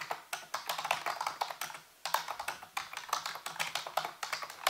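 Fingertips and nails type and tap on the keys of a full-size black plastic computer keyboard with a hollow housing. A quick run of sharp, bright clicks with short decays is broken by a brief pause near the middle before the typing resumes.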